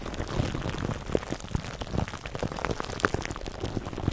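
Fingertips and nails scratch and rub clear plastic cling wrap stretched over a black foam microphone windscreen. The result is a dense, continuous crackling and crinkling with many short clicky pops over a heavy low rumble, most of the energy sitting low with little bright content.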